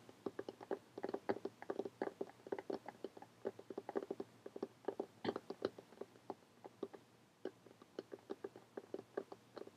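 Long painted fingernails tap rapidly across a closed lime-green cloth or paper hardcover book lying flat. Dozens of quick, dry, soft clicks come in uneven bursts with a faint hollow tone and almost no ring, easing briefly near the seventh second before resuming.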